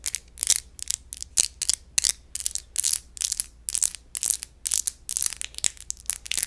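The textured surface of an empty glass wine bottle is scratched in a rapid series of short strokes, giving a crunchy, grinding sound. Each bright, high-pitched burst stops abruptly, with almost no low end and no ringing between strokes.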